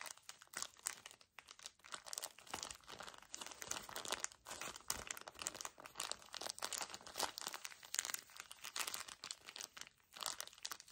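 A small, full pocket tissue pack in a thin plastic wrapper is squeezed and crumpled by the fingers of both hands. It makes a dense, continuous run of bright, crisp crinkles and crackles with almost no low end. The crinkling swells and dips in quick bursts throughout.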